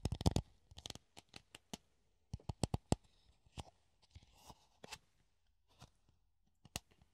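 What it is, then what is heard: Plastic funnel scratched with nails. Fingernails scratch a hollow clear plastic funnel held in the hand, producing a series of short, dry, crackling scrapes with bright edges and a faint low hum underneath. A dense flurry opens the clip, then scattered quick scratches follow with brief pauses between them, each dying away almost instantly.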